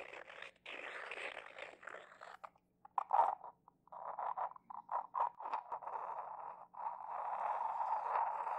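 Fingertips and medium-length nails rub and scratch the glazed surface of a small, white, glossy ceramic double-bulb figurine, likely hollow, cradled in both hands. Dry, papery scraping comes in bursts with brief silent gaps, peaking in a sharp louder scratch around three seconds. It settles into a steadier midrange rub toward the end.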